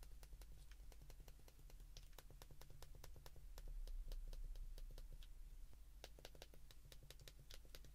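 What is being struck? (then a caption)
Plastic phone keypad. An open white plastic flip phone is held in both hands while thumbs press its keypad buttons in fast succession. Quick, sharp clicks come in an uneven run of about three per second over a steady low hum.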